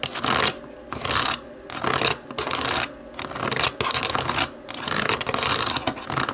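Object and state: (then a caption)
Plastic TV remote scratched with nails. Long nails tap and scratch the white buttons of a black plastic TV remote. The result is bursts of bright, rasping scratching that alternate with quieter stretches of lighter tapping.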